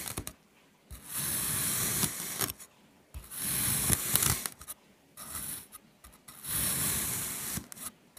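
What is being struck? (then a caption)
Kinetic sand block cut with a metal knife. A metal knife slices lengthwise and crosswise through a solid, flat red kinetic sand mango shape scored into a grid. Each pass gives a soft, bright, gritty scraping hiss with a low crumbly undertone, and the strokes are separated by brief silent pauses.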